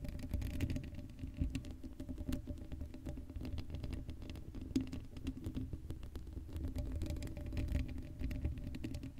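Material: Metal mesh.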